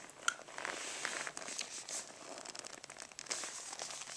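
Fingertips and nails tap and scratch the surface of a rolled black faux-leather brush roll case, near its tie cord, as it rests on carpet. The result is a quiet, bright, crinkly scratching with soft, dry taps and a sharp click near the start, with no low end.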